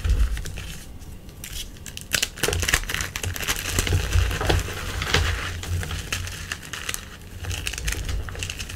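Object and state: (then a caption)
Gym chalk block crushed. A solid, crumbly white gym chalk block is pressed and crushed with fingertips and painted nails in a tray of chalk powder. The result is an irregular run of crunching, crumbling and rubbing, with bright crackly bursts over a steady low, dull body. Short sharp snaps stand out now and then through the clip.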